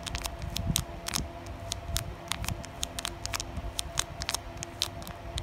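Long painted nails tap and scratch across the printed front of a flat, thin, crinkly foil-plastic Carddass trading card booster pack lying on a pile of other packs. The result is a quick, uneven series of sharp, bright clicks and crinkles over a soft, low rumble and a faint steady hum.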